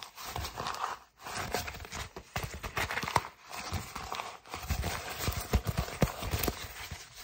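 An empty brown kraft paper mailer bag is scrunched and crinkled in both hands, giving a dense, dry crinkling rustle with soft low thumps. The crinkling comes in bursts, with brief pauses around 1 and 4.4 seconds.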